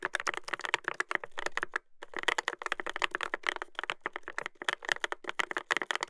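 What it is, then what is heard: Mechanical keyboard with plastic keycaps. Fingertips type continuously on a Dolphin 2021 mechanical keyboard with a brass plate and plastic keycaps, producing rapid, dry clacks that center around 1.8 kHz with bright upper edges. The keystrokes come in dense runs with a brief pause near the two-second mark, each click stopping almost instantly with no ring.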